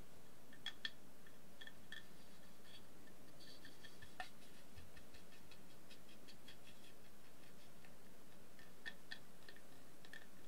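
A round, shallow, empty wooden plate with a gold glitter decoration is held in one hand while long nails scratch and tap across its inner surface. Quiet, sparse clicks and taps carry a bright ring around 1.8 kHz over a steady low background rumble.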